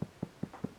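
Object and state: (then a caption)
Tightly hooped fabric. Minky fabric stretched in an embroidery hoop, tightened until the hoop is hard to turn, is tapped four times. It gives short, dull drum-like thumps around 200 Hz that die away almost at once. The drum sound shows the fabric is held tight.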